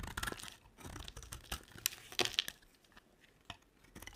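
A box-cutter blade scrapes and carves a dry, solid rectangular olive green soap bar, peeling off chunky flakes. The result is a series of quiet, bright, crisp crackling scrapes with short sharp snaps and almost no ring. Brief pauses separate the strokes.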